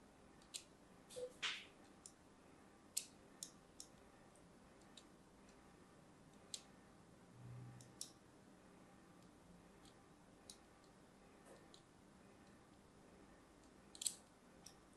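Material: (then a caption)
Soap. A small metal blade, held by a hand with long pink nails, scores thin lines into the surface of a palm-sized, solid, orange-and-white striped bar of soap held in the other hand. About fourteen short, crisp, bright scratching clicks ring out at irregular intervals over a quiet, faint background, with a brief soft low murmur midway.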